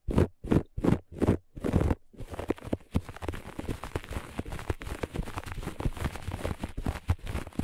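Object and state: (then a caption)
Looped carpet scratched. Long nails of both hands scratch the pile of a flat looped grey-beige carpet. Five separate rough strokes open the clip, then give way to fast, dense, continuous scratching. The sound is dry and crackly with a heavy low-end rustle.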